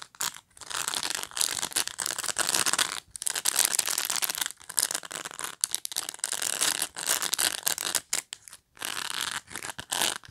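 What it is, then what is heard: Plastic pet brush. Long nails scratch the surface and edge of a black pet brush with dense plastic bristles. The result is a bright, hissy, crackling rasp in uneven bursts separated by brief silent gaps, with almost no low end.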